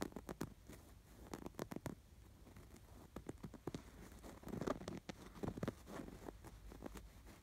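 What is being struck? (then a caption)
Embroidered canvas pillow. Fingertips and nails scratch the fine embroidery on a stuffed canvas pillow with an appliquéd sweater design. The result is quiet, dry, uneven bursts of scratching and patter, each with a brief bright edge and almost no ring, over a soft low background rumble.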